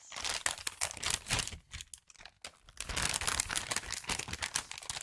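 A small present wrapped in brown patterned kraft gift paper, its contents hidden, is held in both hands near the microphone and crinkled and rubbed with the fingertips. The result is a dense run of bright, dry crinkling and crunching bursts with almost no ring, easing into a near-quiet pause around the two-second mark before the crinkling picks back up steadily.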